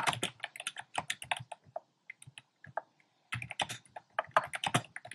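Fingertips type fast and densely on a compact plastic mechanical keyboard with round pastel plastic keycaps in a dark frame. Quick, dry clacks with a soft low thock and a bright top come in rapid bursts. The typing thins to a few scattered taps midway, then picks back up into another quick run.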